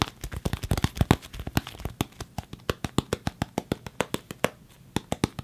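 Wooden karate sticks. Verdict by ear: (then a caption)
Solid. Solid wooden karate sticks, denser than padded practice sticks, are tapped in a rapid series of short, dry knocks. The taps come in a fast cluster at first, then settle into a steady, evenly spaced rhythm. Each knock stops almost instantly with no ring.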